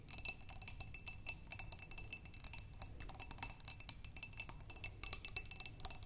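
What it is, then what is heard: Glass vase with water, tapped by fingernails. Long pink nails tap rapidly and continuously on the walls of a clear glass vase partly filled with water, with tulip stems inside. Each tap is a short, bright click with a faint glassy ring near 2.6 kHz, over a steady low rumble.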